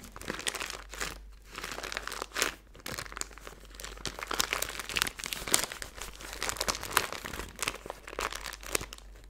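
A small clear plastic zip-top bag full of silver glitter or foil bits is held in both hands and crinkled and squeezed with long blue-painted nails. Dense, bright crinkling and crackling runs throughout, in rapid short bursts that swell and fade with brief quieter gaps. There is little low end, and each crackle dies away almost instantly.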